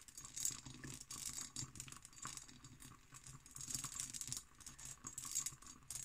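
An empty, hollow hobnail-pattern cut glass decanter with its stopper is tapped and scratched with long green nails. The result is a quiet, continuous run of light, bright ticks and rattly scraping, with a high glassy shimmer and short rings that die away quickly.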